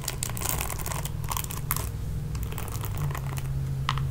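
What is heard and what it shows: Long painted nails scratch and rake across the dense bristle pad of a red plastic oval paddle hairbrush with a hollow body. The result is a steady run of quick, crisp, bright ticking and scratching, with a fuller burst near the end, over a constant low hum.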